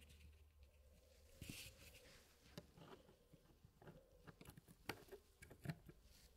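Fingertips place and push solid wood pieces into a small square wooden tray puzzle (the Elegance wood puzzle) with a hardwood frame. Short, dry wooden clicks and soft patter come at irregular intervals over a quiet, low background rumble. A few sharper taps stand out near the end.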